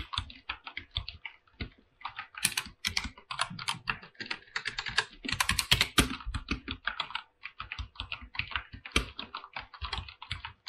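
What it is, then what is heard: Mechanical keyboard with plastic keycaps. A full-size mechanical keyboard with white and blue PBT plastic keycaps on an aluminum plate is typed on, with fingertips pressing and tapping the keys. The result is a fast, steady run of short, bright, crisp clacks with brief dips between bursts and occasional louder strikes.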